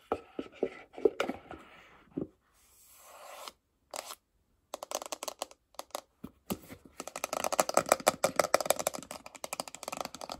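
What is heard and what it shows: Long acrylic nails tap rapidly on the front and sides of a small, closed, hollow white glossy paperboard iPhone box. Crisp, dry, hollow clicks and light scratchy scrapes come in irregular bursts with short silent gaps, then grow into denser, quicker tapping toward the end. Each tap dies away at once with no ring.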